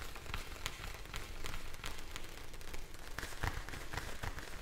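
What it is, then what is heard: Plastic bag of gel beads. A clear plastic bag filled with blue gel beads is held close to the mic and tapped and scratched with long nails. It makes a soft, rain-like patter of crinkly taps and scratchy clicks over a deep, muffled rumble. The sound holds at a steady, moderate level throughout.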